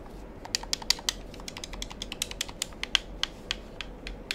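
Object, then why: Plastic game controller buttons. A black plastic gamepad is held in hand near the mic as fingers press its buttons and triggers, producing 21 sharp, bright plastic clicks in irregular succession. The clicks are dry with almost no ring, peaking around 3 kHz over a low, steady background hiss.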